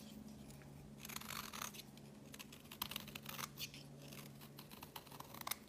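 A solid, pink, rounded bar of soap is held in the hand while a metal utility blade shaves its surface, and pink curls pile up on a woven mat. Quick, bright scraping strokes come one after another with a crisp, dry texture. A low steady hum runs underneath.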